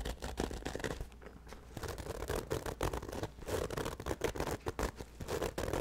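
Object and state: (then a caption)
Nylon fabric bag scratched. A hollow black nylon fabric bag with a handle, held over the microphone, is scratched briskly with the fingertips. Rapid, dry scratching bursts crackle over a steady low hum, with a brief quieter stretch in the middle before the scratching picks up again.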